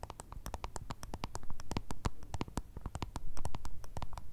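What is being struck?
Small round plastic remote control.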